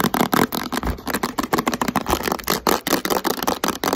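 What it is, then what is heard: Plastic spray cleaner bottle. A hand-sized, hollow blue and green plastic Microban multi-purpose cleaner bottle, held in the hands, is rapidly tapped and scratched with long white acrylic nails. About eighteen quick, dry, hollow plastic clicks and scrapes come in an irregular, fast rhythm. Their tone sits in the midrange around 250 Hz, and each dies away almost instantly.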